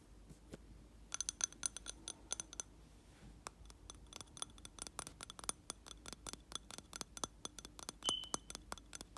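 Fingernails tap the side of a lit candle in a reddish round glass jar filled with wax. The result is a rapid, irregular series of bright, high glassy clicks and clinks with very short ring, with a brief pitched ring near the end.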